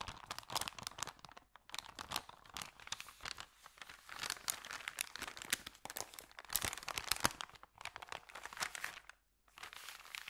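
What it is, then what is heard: Paper bag being crinkled. Hands crinkle an empty white paper sandwich bag, then unfold it flat on a carpet and rub it with their fingertips. Dense, bright, dry crackles and crisp snaps come in uneven bursts, with brief quiet gaps near 1.6 and 9.2 seconds and almost no low end.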